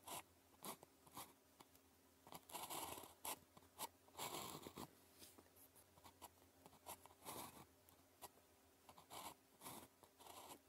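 A blue plastic ballpoint pen, held in the fingers, writes with its tip on a thin grid-printed calligraphy practice sheet lying flat on a desk. Short, dry scratching strokes come in quick bursts, with bright, raspy texture over a quiet background. Each stroke stops almost instantly with no ring.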